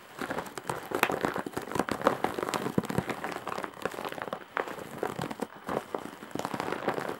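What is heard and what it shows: Long nails scratch across the weave of a large embroidered straw/jute bag, making a dense, dry crackling and rustling. Quick scratchy bursts pile up steadily with brief dips in between, and the sound stays mostly midrange with little low end.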